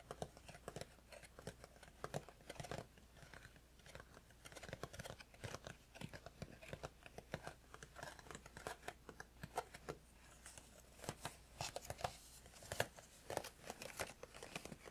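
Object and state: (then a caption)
Cardboard tea box. Fingertips of both hands tap rapidly on the top and front of a small cardboard tea box, making a dense, irregular stream of short, dry taps. The taps are quiet and close, with a hollow papery body around the low midrange and crisp bright edges, each dying away almost instantly.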